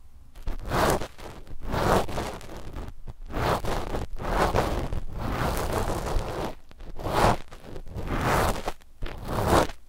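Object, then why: Knit fabric sheet scratched with cotton swabs. Two cotton swabs scratch a flat sheet of black knit fabric laid over a pair of microphones. The result is soft, breathy scraping in broad bursts, with some fading and swelling. A low, muffled rumble sits under the bursts.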